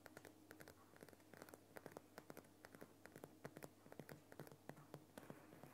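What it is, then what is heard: Rock salt lamp scratched with fingernails. Fingernails of both hands scratch and tap rapidly on the lower sides of a large, solid, lit Himalayan rock salt lamp. The result is a quick, uneven series of short, dry, gritty clicks and scrapes that die away almost instantly, over a faint steady low hum.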